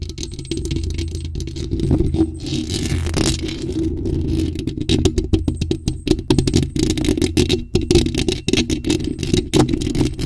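Long acrylic nails rapidly tap and scratch a bare, hollow black metal mesh microphone grille. The result is a dense, steady stream of sharp clicks and scrapes over a boomy low thump, with a brighter scratchy rasp rising briefly around the third second.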